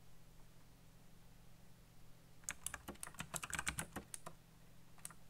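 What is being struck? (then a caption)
Plastic mechanical keyboard. Fingertips tap the keys of a backlit black plastic mechanical keyboard with RGB lighting and hollow key switches, about fifteen quick, sharp, bright clicks in an uneven burst over a steady low hum. A brief quiet pause follows, then a final keystroke.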